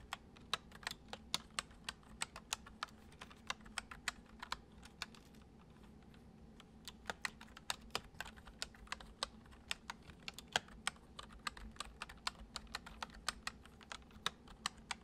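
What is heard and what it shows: Fingertips tap the keys of a full-size white plastic computer keyboard resting on a wooden desk in a steady stream of gentle typing. The keystrokes are short, bright clicks that die away almost instantly over a faint, steady low hum. The typing pauses briefly around the middle before resuming at the same pace.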